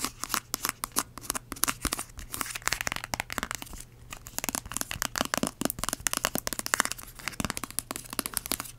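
Long acrylic nails scratch and tap rapidly on a small, filled yellow plastic hand cream tube. The result is a dense, steady run of sharp, dry clicks and scratchy crinkles, bright and close, with almost no ring after each touch.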